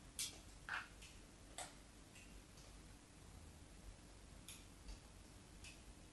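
A metal craft knife scratches diagonal lines into the surface of a solid white bar of soap held by hand. Five short, bright, scratchy ticks come at uneven intervals, each dying away almost at once over a quiet, low background rumble.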